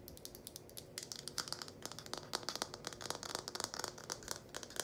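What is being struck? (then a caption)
Small plastic funnel. Long painted nails tap fast on the outside of the cone of a small red hollow plastic funnel with a spout and handle loop, held in both hands. The result is a quick, dense run of sharp, dry clicks with bright high overtones and almost no ring, rising and falling slightly in loudness throughout.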